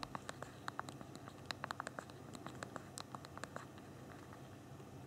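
Thumbs type a message on the backlit physical plastic keyboard of a small BlackBerry Q10 phone, pressing the keys one after another. About two dozen quick, dry clicks with bright, short attacks tap out at an irregular pace over a soft, quiet background hiss.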